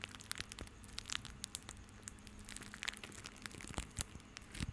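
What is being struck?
Crumpled bundle of plastic rope.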